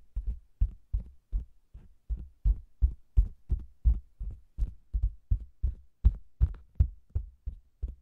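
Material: Faux leather.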